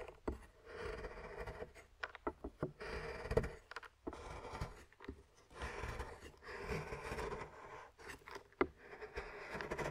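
A large knife is scraped along a flat, solid milk chocolate bar resting on a wooden board, shaving off curls. Soft, dry scraping strokes alternate with brief gaps and occasional sharp clicks, all at low volume.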